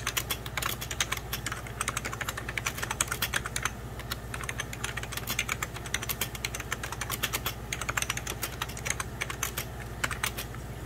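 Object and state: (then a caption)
Plastic computer keyboard. A beige 1990s Packard Bell plastic computer keyboard, hollow-bodied, is typed on with the fingertips of both hands. It gives a fast, uneven stream of short, bright plastic key taps with quick decay. A steady low hum runs underneath throughout.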